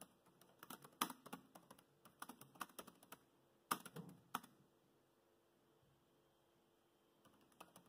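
Fingertips of both hands type on the black plastic chiclet keys of a grey laptop keyboard, producing quiet, quick, dry clicks in an irregular stream. After a burst of typing come a few sharper, louder keystrokes, then a near-silent pause before soft tapping resumes at the end.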